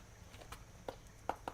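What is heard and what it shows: A whole wheat lavash tortilla, pressed into a metal nonstick bowl mold and baked in the oven the night before, is tapped four times to show how crispy it is. Each tap gives a short, dry, hollow click with almost no ring, over a faint low hum. The bowl is crisp and firm enough to hold a sloppy joe filling.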